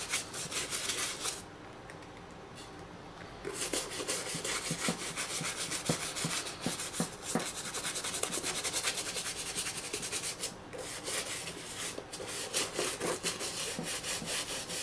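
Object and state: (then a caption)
Leather high-top sneaker being scrubbed. A toothbrush scrubs the foamy upper panels of a hollow black and green leather high-top sneaker resting on a wooden chair. Dense, bright scratchy brushing strokes fill the clip, broken by a quieter pause from about 1.5 to 3.5 seconds.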